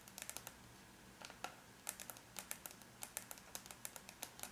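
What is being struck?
Aluminum laptop lid.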